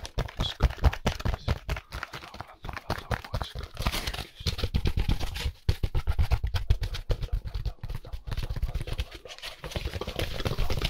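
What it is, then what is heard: Styrofoam packaging insert. Gloved fingers rub and tap a white solid styrofoam packaging insert along its edge and face. A rapid, dense run of short, dry, low thumps mixes with squeaky scraping rubs, and each tap dies away almost at once.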